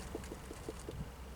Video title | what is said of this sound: Как определить спелость тыквы на огороде. Внешние признаки спелости плодов тыквы | to głuchy dźwięk jak u arbuza